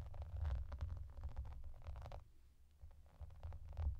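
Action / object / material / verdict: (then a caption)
scrape / clear plastic bubble bathmat / plastic / none. Long nails scratch and tap across a clear, translucent plastic bath mat with raised bubbles while hands rub over its surface. The result is a dense, low, rumbling scratchy texture with soft, quick taps and a brief quieter stretch in the middle before the rubbing picks up again.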